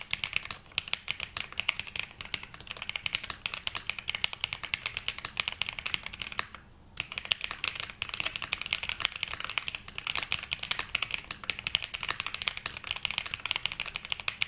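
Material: Plastic.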